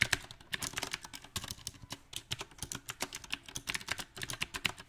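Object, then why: Mechanical keyboard with round plastic keycaps. A compact backlit mechanical keyboard with round plastic typewriter-style keycaps is typed on quickly with the fingertips, giving a dense run of about 31 crisp, clicky key taps. The taps are bright and sharp, die away almost at once, and come at an uneven, irregular pace.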